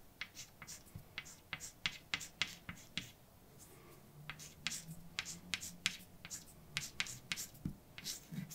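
A hand writes words with a white chalk stick on a large, flat, dark painted blackboard with a solid surface. A quick series of sharp, bright chalk taps and short scratching strokes comes through, each dying away almost at once. A faint low hum runs underneath in the middle of the clip.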